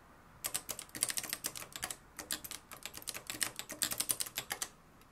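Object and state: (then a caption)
Manual typewriter typing. Fingertips type continuously on the dark plastic keys of a mustard-yellow, plastic-cased manual typewriter with a metal mechanism. About 28 crisp, bright keystroke clacks come in two quick bursts separated by a brief pause, each dying away almost instantly with very little low end.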